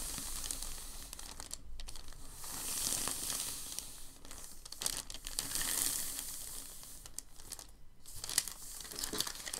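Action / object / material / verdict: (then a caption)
scrape / thin packing paper sheet / paper / none. Open hands rub and smooth a large, thin, crinkled sheet of packing paper lying flat on a table. A steady, bright crinkling and rustling swells and fades in waves, with small sharp crackles scattered throughout.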